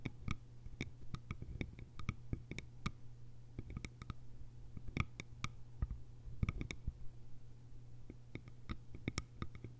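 Long pale almond-shaped nails tap the top edge and sides of a small, hollow, round bamboo jar with a fitted bamboo lid, resting on grey fabric. Quick, dry, very short clicks with bright edges come in uneven bursts over a steady low hum. The tapping is quiet and fades almost instantly after each hit.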